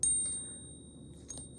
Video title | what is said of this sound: How Can These Two Silver Bullion Coins Be SO Different? | use the end tip of your thumb here just to kind of have it ring up against the backstop there, and you can hear it